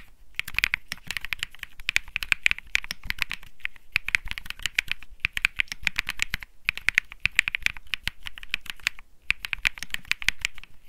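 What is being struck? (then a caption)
Mechanical keyboard with plastic keycaps. Fingertips type steadily on the plastic keycaps of a white Think 6.5 mechanical keyboard with Bsun Lollipop switches. The keystrokes are crisp, bright clacks centered near 2.4 kHz that stop almost instantly, with a soft low thock underneath. The typing comes in quick bursts with brief pauses near the middle and toward the end.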